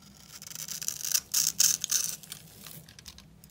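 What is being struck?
Bar of soap scraped with a steel blade.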